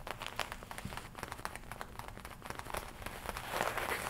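A worn black and red studded leather biker jacket has its black leather chest and lapel tapped and scratched by long nails. The result is a quiet, dense run of soft, irregular taps and dry crinkling scratches. The sound grows brighter and busier toward the end.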